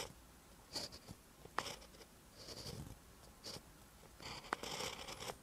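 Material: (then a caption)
Paper. A pen writes green Korean letters on a lined paper notebook page, making quiet, bright scratching strokes. Short bursts of hissy friction and small sharp ticks come in clusters, separated by near-silent pauses.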